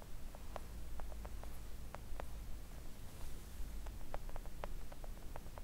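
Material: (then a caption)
Silicone. Long coffin-shaped press-on nails gently tap a thin, solid, flat pink silicone nail art mat lying on a table. The taps are soft, short and dull, coming in quick irregular clusters with almost no ring, over a steady low hum.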